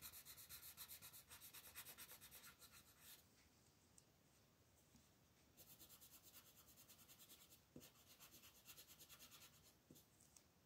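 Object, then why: Paper coloring book page rubbed with a colored pencil. A hand shades a thin paper coloring book page lying flat with a red colored pencil, using continuous rubbing strokes. Quick, bright, scratchy back-and-forth strokes come in steady bursts, ease off into quieter, softer shading in the middle, then pick back up with rapid strokes until the end.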